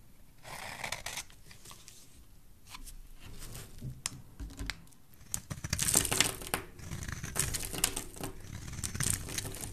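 A rectangular solid yellow bar of soap held in the hand is shaved into curls with a metal blade. Dry, bright scraping and crinkly rasps come in irregular short strokes, growing louder and denser toward the middle before continuing in steady bursts.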